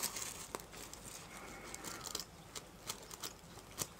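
Fingertips and nails brush and rub across a small round coin purse covered in reversible plastic sequins on fabric, held in the hands, flipping the sequins. The result is a quiet, bright crinkling rustle broken by sharp, short ticks and clicks as the sequins flip over.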